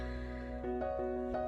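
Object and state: Nothing is struck.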